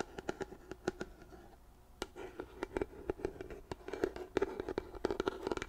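A large white plastic lotion pump bottle, held in both hands, is tapped and scratched along its sides with long nails. Quick, irregular, dry taps carry a hollow plastic tone around 390 Hz, mixed with soft scratching between them. Each tap dies away almost instantly.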